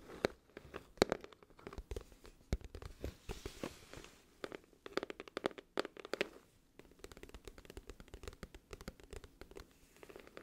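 Long nails tap the front of a glossy cardboard music album case, then tap and scratch its back cover while it is held tilted. The result is a dense run of quick, dry clicks with very little ring, centered in the low mids, mixed with softer scratchy brushing between the louder taps.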